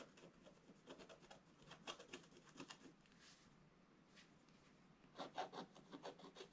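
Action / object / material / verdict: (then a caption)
scrape / black-coated scratch-art paper card scratched with a wooden stylus / coated paper / none. A wooden stylus scratches across a flat, black-coated scratch-art paper card in quick, dry, raspy strokes. The scratching comes in bursts, grows quieter and sparser in the middle, then returns in a louder, denser cluster of bright strokes near the end.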